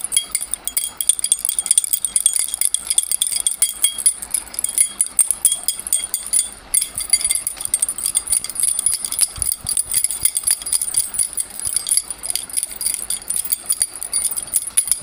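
A bundle of metal key-like bars on a steel ring hangs from fingers close to the microphone and is shaken steadily for the full 15 seconds. The bars jangle and clink against each other in a dense, continuous stream of bright, high metallic chinks with very short ring and almost no low end.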